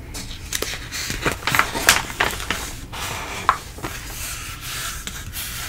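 A palm and fingertips rub and smooth across a glossy page with a plant-print ad in an open print-industry magazine lying flat, its thin, flexible paper sheets rustling. Soft, airy swishes are broken by sharp, bright crinkles and faint scratchy rasps that come in irregular bursts before settling into a steady hiss.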